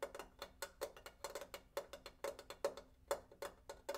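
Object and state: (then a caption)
Water heater tank tapped. A water heater tank is tapped in a quick, irregular series of about 22 light taps over four seconds. Each tap gives a short, hollow knock with a faint tone around 560 Hz that dies away almost at once.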